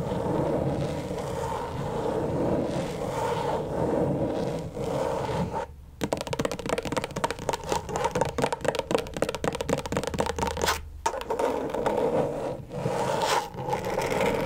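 Long stiletto nails scratch and tap with both hands on the plastic surface of a flat, thin, backlit rectangular LED tracing pad. Steady dry scraping runs for about six seconds, then gives way to a rapid burst of quick, sharp taps before the scratching returns, all over a faint low hum.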